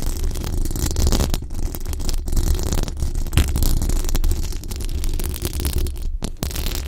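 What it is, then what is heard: Metal mesh microphone grille being scratched. Long dark acrylic nails on both hands scratch the hollow, dome-shaped metal mesh grille of a large pink sticker-covered condenser microphone. The result is a steady, dense rumbling scrape that sits heavily in the low end around 70 Hz, with faint, fizzy texture above and only a few brief dips in level.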